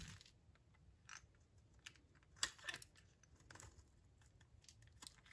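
A utility knife blade cuts into and scrapes curls off a solid, oval, dry lilac soap bar held in the hand. The sound is a series of quiet, irregular, crisp scraping and crunching strokes with a bright, dry texture, and the loudest, sharpest cut comes near the middle.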